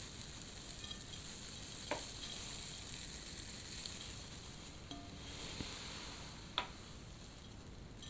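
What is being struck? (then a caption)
Artificial plastic snow in a glass bowl. Fingers dig into, grab and stir white artificial plastic snow in a large glass bowl. A steady, bright, sizzling rustle runs throughout, broken by five short, sharp clicks.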